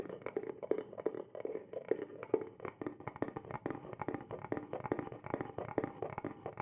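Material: Wood.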